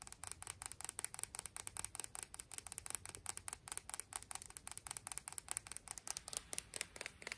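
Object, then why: Piece of sea glass. A piece of sea glass is tapped and scratched in about forty quick, evenly spaced strokes. Each one gives a dry, bright click with almost no ring, and a faint hiss sits underneath at a quiet level.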